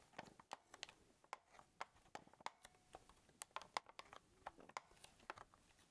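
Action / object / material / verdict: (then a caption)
tap / plastic camcorder body / plastic / none. Fingertips press, tap and rub the casing of a small, hollow black plastic Sony camcorder held in both hands. The result is a quiet, rapid series of short, dry clicks and crackles with a slightly bright, hollow plastic tone around 1 kHz. Each sound dies away almost instantly.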